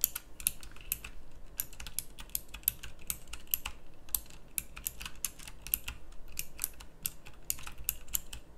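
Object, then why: Plastic mechanical keyboard with round keycaps. Fingertips of both hands type quickly on a pink plastic mechanical typewriter-style keyboard with round plastic keycaps. A rapid, uneven stream of sharp, bright clicks rises over a steady low hum, and each keystroke snaps off almost instantly.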